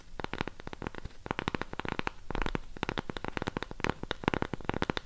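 A round cork coaster held upright is scratched and tapped on its surface by long pink nails. It makes rapid, dry, crackly taps and scratches in uneven bursts, each dying away at once with no ring.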